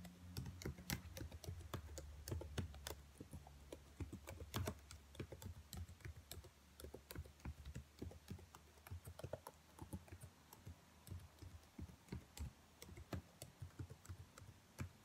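Fingernails and fingertips tap and type on the black plastic keys of a dark laptop keyboard, making quick, dry, irregular clicks with bright edges. A low hum sits underneath during the first few seconds, then fades, leaving the tapping clearer and a little softer.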